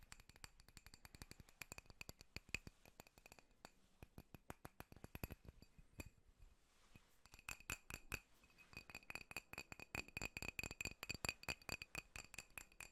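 A drinking glass is tapped rapidly, giving a dense run of short, bright clinks with a ringing tone near 2.5 kHz. The tapping thins out briefly around the middle, then picks back up with louder, quicker taps.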